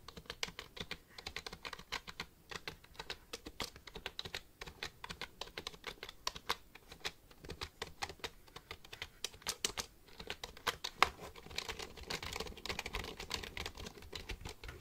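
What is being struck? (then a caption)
Plastic computer keyboard. Fingertips type on the keys of a black plastic computer keyboard held upright, producing a steady stream of short, sharp, bright clicks with almost no ring. Near the end one louder click stands out, and the typing becomes faster and denser, blurring into a continuous clatter.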